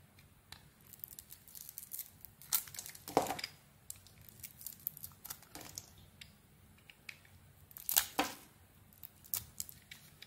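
A metal blade carves and scrapes slices off a hand-held, hand-sized solid cream-colored soap bar with a pink glitter outer layer. Soft, dry scraping and crisp tearing strokes repeat unevenly, with louder bright shaving bursts near the 3-second and 8-second marks, and quiet pauses between.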